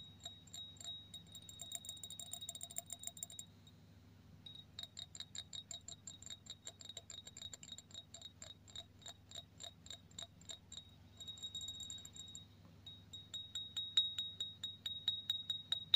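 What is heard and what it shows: Fingernails tap and scratch on a clear, embossed cut-glass tumbler, hollow and empty, seen from above. Quick, irregular taps give bright, glassy clicks pitched around 3.8 kHz that die away almost at once. They come in bursts with brief pauses near four and twelve seconds, and a soft scratching fills the gaps.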